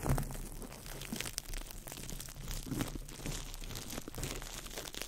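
A small ball of crumpled clear plastic wrap is crinkled by fingertips over the mic, making a steady, dense crackle of sharp, bright crinkles over a low rumbling undertone. The crinkling stays close and continuous for the whole clip, with no clear pauses.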